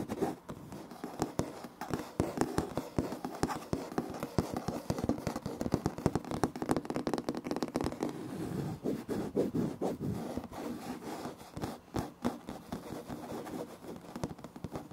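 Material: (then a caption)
Wood laminate. Both hands tap and scratch with fingertips and short nails on the large, flat, solid surface of light wood-grain laminate floor planks. Rapid, closely packed dry taps and scraping scratches continue steadily throughout, each hit stopping short with almost no ring. The sound sits mostly in the low-mid range with very little bright content.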